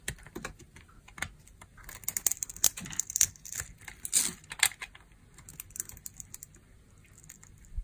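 A metal knife blade scrapes and cuts crunchy pieces off a solid red translucent dry glycerin bar soap held in the hands. The result is a run of short, dry, bright crackling scrapes and crunches with almost no ring. The clicks cluster loudest in the middle of the clip and thin out toward the end.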